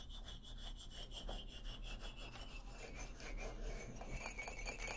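Fingernails scratch and rub the solid hardwood bars of an upright xylophone, making a steady, soft, dry rasping that continues throughout. Faint tonal bands ring above the scratching, over a low background rumble.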